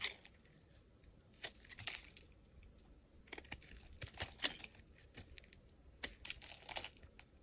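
A metal blade shaves thin curls from the surface of a solid pink hexagonal soap bar held in the hand. The result is a series of quiet, dry, crisp scraping and crackling strokes, bright and papery with very little low end.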